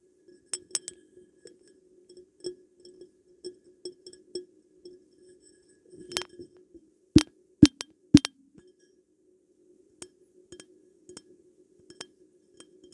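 A glass perfume bottle is tapped in an irregular series of light clinks, each with a short low glassy tone around 300 Hz and a very brief ring. Three louder, sharper taps stand out near the middle before the tapping returns to soft, scattered clinks.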